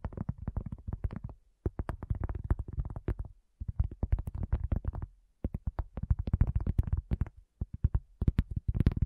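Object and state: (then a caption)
Cork coaster. Long fingernails of both hands tap quickly on a round, flat, solid cork coaster. The dull, low, soft clicks come in rapid bursts separated by brief pauses, with almost no ring after each tap.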